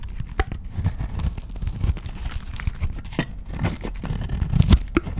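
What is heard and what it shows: A solid white oval bar of dry soap, held in the hand, is scraped and shaved with a utility knife blade, flakes breaking off as it goes. The blade makes a steady, dry crunching and scraping sound, mostly low and dull, broken by short, sharp, brighter crackles and clicks.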